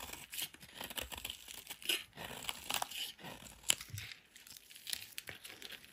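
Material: Soap.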